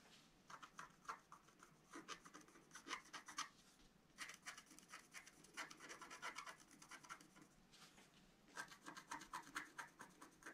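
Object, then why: Coated scratch-art paper card scratched with a wooden stylus. A wooden stylus scratches the coating of a flat, black-coated scratch-art paper card in continuous strokes. The result is dry, bright, rasping scratches that come in bursts of quick strokes separated by short pauses, with almost no low end.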